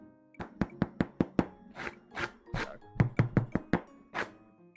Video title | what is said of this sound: 【 Virtual Bakery 】Lasagna, Foccacia, Tiramisu?.. why is Italian food so SQUARE??? | that's how crispy it is so passed the knock test